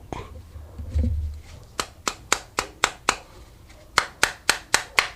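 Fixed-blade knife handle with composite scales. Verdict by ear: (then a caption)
Loose. Eleven sharp, clicky taps on the micarta-scaled, pinned handle of a Herbertz Top Collection 440 AISI fixed-blade hunting knife, in two quick runs after some low handling rumble. The taps sound hollow because the handle scales are not secured tightly, and gaps in the handle collapse when squeezed.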